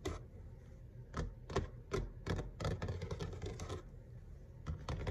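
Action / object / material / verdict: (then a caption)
tap / laminate kitchen countertop / laminate / none. Fingertips and short nails of both hands tap on a large, flat, solid grey kitchen countertop, probably laminate. The quick, irregular taps make dull low thuds with a sharp clicky edge and almost no ring, some landing noticeably harder than others.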